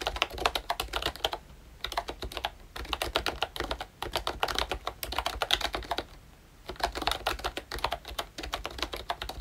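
Fingertips type continuously on a pink and brown plastic ROYCHE Disney Mickey Mouse retro membrane keyboard. Bursts of quick, bright, clacky keystrokes are broken by two short pauses, over a faint low hum.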